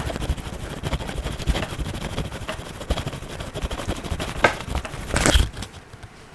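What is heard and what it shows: An orange wax crayon is rubbed and scratched across the printed page of an open paper coloring book lying flat on a table, over a solid stack of pages. The result is a steady, dry scratchy scraping made of quick, uneven strokes with a low rumble underneath, swelling into a louder, brighter burst of scraping near the end before trailing off quietly.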